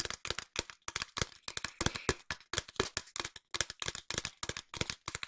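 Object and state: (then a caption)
Cardboard tube. A long, hollow cardboard tube held diagonally is tapped with long nails in a quick, uneven run of crisp, dry taps. Each tap is short and bright with a slight hollow tone, and the taps come in bursts with brief pauses between them.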